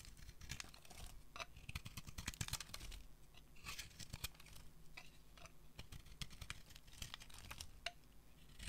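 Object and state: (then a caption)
Dry soap bar being scraped. A solid white, anchor-shaped dry soap bar is held in one hand while a metal utility blade shaves and scrapes flakes off it. A steady run of quick, dry scraping and crackling strokes follows, with bright crisp edges, a low rumbling undertone and almost no ring after each stroke.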